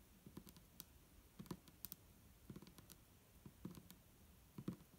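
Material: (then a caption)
Plastic. Long nails on both hands tap the sides of an upright, hollow clear plastic micellar water bottle with a green cap and liquid inside. The result is quiet, irregular clicky taps in loose clusters, each with a low hollow knock, a bright tick, and a very short decay.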